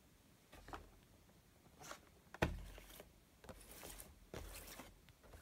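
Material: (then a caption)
Cardboard. A small, closed, printed cardboard Funko Pop box with a window, holding a Super Saiyan Rose Goku Black figure, is handled, tapped and scratched with fingertips and nails on a stone countertop. Soft, papery scratching and brushing strokes alternate with dull, hollow taps, including one sharper knock where the box meets the stone. Each sound dies away quickly in a quiet space.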